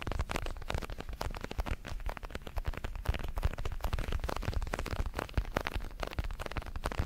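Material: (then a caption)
Synthetic leather. A large red synthetic leather boxing glove, hollow with foam padding, is held in both hands while fingertips tap and scratch its surface. The result is a dense, rapid stream of soft, dull thumps and scratchy rustles, mostly low and muffled, with very short decay.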